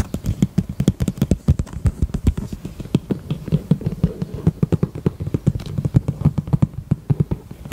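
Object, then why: Small faux leather heart-shaped purse. The front face of a small, hollow, heart-shaped pink faux leather handbag is tapped and scratched with long nails. The result is a rapid, uneven stream of dull, dry taps with a low, hollow thump and almost no ring, mixed with soft scratching between them.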